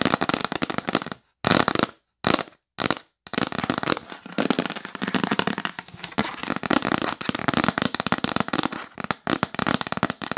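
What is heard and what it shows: Long acrylic nails rapidly tap a rigid, hollow, yellow printed L'Occitane cardboard gift box lid held in the hands. The result is a dense, fast clatter of dry, crisp clicks with bright crackling texture. Several brief silent pauses break the tapping in the first few seconds, then it runs steadily to the end.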